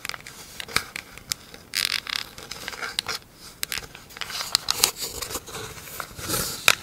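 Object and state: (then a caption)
Plastic lid tapped and scratched with nails. Long acrylic nails tap and scratch across the top and ridged rim of a round, hollow, empty pink plastic lid. Sharp, bright clicks mix with dry, raspy scratching bursts that sit almost entirely in the high range. The sound has almost no low end and each tap dies away instantly.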